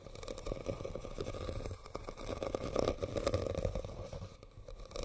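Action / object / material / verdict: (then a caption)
scrape / woven rattan basket / rattan / none. Fingernails scratch and tap on a hollow red woven rattan basket, making a dense, crackly rustle with quick light taps that carry a hollow woody tone around 540 Hz. The sound swells and fades over the few seconds, with a dull low rumble underneath and little bright content.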